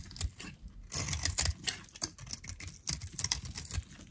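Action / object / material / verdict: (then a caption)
scrape / bar of soap scraped with a metal blade / soap / none. A metal utility knife blade scores and shaves thin strips off a solid, orange-striped bar of dried soap held in the hand. A rapid series of short, dry, crisp scrapes and crackles comes through, bright on top with a soft low thump under each stroke and almost no ring.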